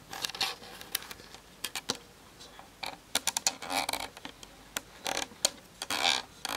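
Long nails tap quickly on the hollow plastic body of a Canon DSLR on a tripod, then on its plastic lens barrel, picked up by the camera's built-in mic. The taps are sharp, bright clicks with almost no low end and no ring. They come in irregular bursts, some fast clusters blurring into a brief rattle.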